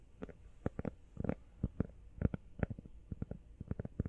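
Fingernails tap quickly on the back and sides of an empty teal rubber iPhone case. The result is a rapid, irregular run of dull, low, muffled taps that stop dead with no ring, and there are brief pauses between bursts.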